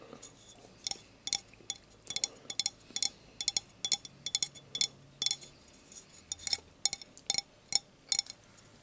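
A drinking glass is tapped repeatedly between bites of dinner, giving a quick series of bright, high clinks. Each tap is sharp and dies away almost at once, over a faint, quiet background.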